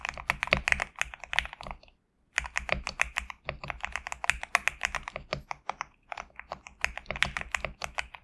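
Fingertips type continuously on a compact GMK67 mechanical keyboard with PBT plastic keycaps, producing a rapid stream of short, bright clacks with sharp attacks and almost no ring. The typing pauses briefly near the two-second mark, then resumes at a steady pace until the end.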